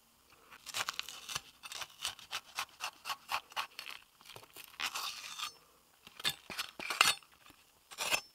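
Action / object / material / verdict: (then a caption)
scrape / bell pepper half scraped with a steel knife / vegetable / none. A steel chef's knife blade scrapes the seeds and inner flesh out of half of a hollow, empty yellow bell pepper held in the palm. A series of short, bright, crisp scraping strokes with a slight crunch comes in quick bursts, with a longer rasping scrape partway through and brief pauses between strokes.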